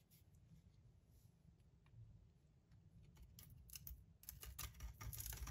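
A metal blade scrapes the gold-foil-covered stamped surface off a solid white Marseille soap bar held in the hand. Quiet, crisp, bright scratching strokes come in irregular bursts over a low background rumble, growing louder and denser toward the end.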